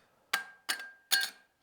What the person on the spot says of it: it looks like plastic, it feels like plastic, but you drop it on the counter. Sounds like metal.